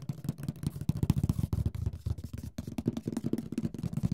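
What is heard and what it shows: Fingertips tap quickly on the lid and sides of a large, rigid, hollow printed cardboard Mysterium board game box while the other hand steadies it. The result is a rapid, uneven run of soft, dry, hollow thumps with a low, boxy body and almost no ring after each tap.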